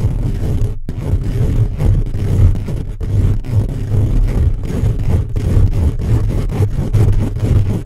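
Fingertips and short nails of both hands scratch fast and aggressively over the round hollow steel-mesh grille of a black USB condenser microphone. The result is a dense, continuous rumbling scrape that sits almost entirely in the low range around 86 Hz, with a brief dropout near the one-second mark.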